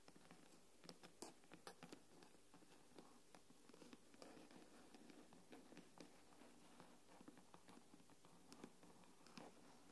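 Long nails tap and scratch the silver aluminium back of an iPad, turned over to show its Apple logo. A quiet, irregular run of light clicking taps mixes with soft scratching over a low hiss, each tap brief with a short metallic ring.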